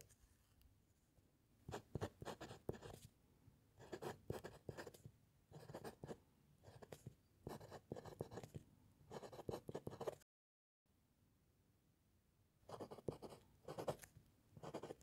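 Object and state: Pen nib writing on paper over a wooden clipboard.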